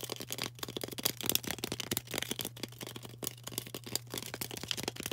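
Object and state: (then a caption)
Floral foam block tapped and scratched with nails. A solid, rectangular green floral foam brick is held in the hand and tapped and scratched quickly with long orange acrylic nails. The result is a dense, crackly stream of short, dry, bright clicks and scrapes with almost no ring, over a faint steady low hum.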